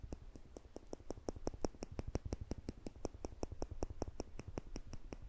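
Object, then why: Stainless-steel tweezers. Small, solid stainless-steel tweezers held in the fingertips just above a microphone have their two tips pressed together and released, so they click against each other. About 29 rapid, short metallic clicks come in a quick, somewhat uneven rhythm, each crisp and bright with almost no ring, over a soft low rumble.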